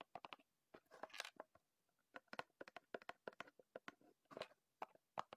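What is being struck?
Small cardboard box.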